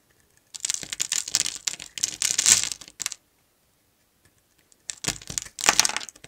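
A metal utility knife blade carves and scrapes a solid mint-green bar of soap held in hand, sending shavings and cubes falling off. Dense bursts of crisp, gritty, high-pitched crunching and scraping run for about two and a half seconds. After a pause of almost two seconds, a second burst follows.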